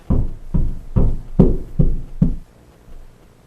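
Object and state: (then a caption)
Drywall over a stud, solid. Six low, dull thuds as the rubber end of a hammer knocks along a drywall wall, each hit dying quickly, followed by quiet. The knocks reach the first solid sound, which marks a wooden stud behind the drywall.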